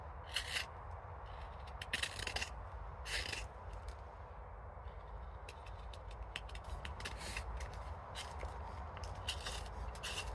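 A steel hook knife carves the inside of the bowl of a nearly finished silver birch cooking spoon held in the hand, lifting thin curled shavings. Repeated short scooping scrape strokes give bright, papery bursts over a steady low rumble.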